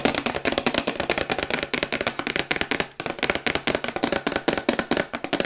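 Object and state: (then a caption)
Printed cardboard box tapped with fingernails. A glossy printed cardboard Yeti microphone box, held in the hands, is tapped rapidly on its sides with long white acrylic nails. The result is a fast, steady stream of short, crisp clicking taps with a brief pause near the three-second mark.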